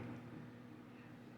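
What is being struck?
Nothing is struck.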